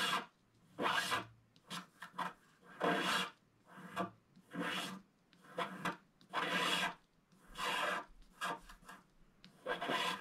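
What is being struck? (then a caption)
Black-coated scratch-art card scraped with a wooden stylus. A wooden stylus scratches across a flat, black-coated scratch-art card, making repeated dry, raspy strokes. Each bright, broadband scrape is separated by short pauses, and some strokes are longer and some quicker.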